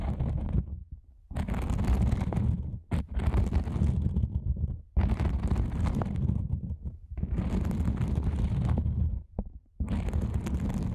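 Long nails scratch the surface of a black nylon fabric lens pouch from both sides, giving a close, dense, rumbling scratch that is mostly deep and low with a faint bright hiss. The scratching comes in long bursts separated by short pauses.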